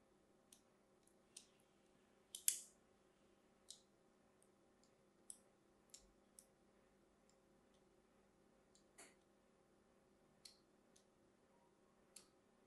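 A solid, hand-sized green Aquatel bar of soap is held and scored with a thin metal blade in repeated scratching cuts. Each cut gives a short, sharp, bright click or scrape that dies away almost at once, spaced irregularly over a quiet, faint background hum. One louder, slightly longer scrape stands out near the start.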